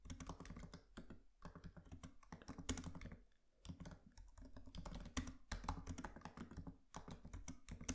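Both hands tap with their fingertips on the black plastic keys of a MacBook Pro laptop keyboard with an aluminium body, producing a rapid, steady stream of soft, low, muffled key clicks. Brief pauses break the typing a few times, and each tap dies away almost instantly.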